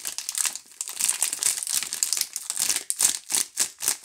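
A blue DURU four-bar soap multipack wrapped in clear plastic film is held in both hands while fingertips and long nails squeeze and rub the film. The result is a bright, dry crinkling with rapid crackles and short rustling bursts and almost no low end.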